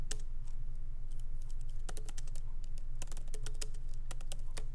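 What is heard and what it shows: Fingertips of both hands lightly type on a MacBook Pro laptop keyboard with black plastic keycaps in an aluminum body, resting on a wooden desk. Quick, uneven, bright key clicks patter over a steady low hum.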